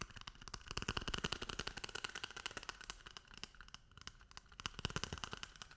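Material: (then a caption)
Paper. A toilet paper roll is tapped and rubbed, giving a dense run of quick, dry, papery taps and rustles, with brief sharp clicks spread across the bright, crinkly texture. The taps come unevenly in fast clusters and stop instantly with no ring.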